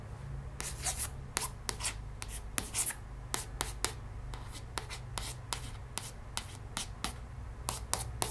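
Long red-painted nails trace and lightly tap across the glossy cover of a hardcover cardboard children's board book, *One Happy Tiger*, lying flat and solid on a wooden table. Short, crisp, bright taps and soft scratchy strokes come in a quick, uneven series over a steady low hum.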